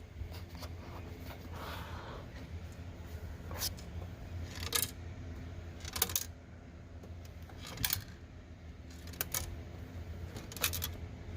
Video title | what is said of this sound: Don't do what I did Or a leave it up to you after you see the pictures in this video things happen 🤬 | there's something loose inside i haven't opened it yet and there's something loose